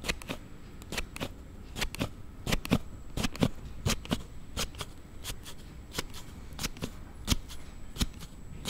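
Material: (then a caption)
Plastic. A thumb repeatedly slides a plastic sliding case on a Note7 phone back and forth, producing an unusual sound. Sharp, bright clicks and snaps come at an uneven pace, each dying away almost instantly over a faint low rustle.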